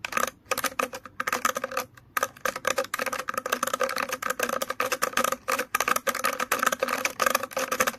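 Fingers scratch and flick the plastic bristles of an orange plastic hairbrush, producing a rapid, continuous series of dry, crisp clicks and scratches. The short, bright ticks come in quick irregular bursts with brief pauses between them and almost no low end.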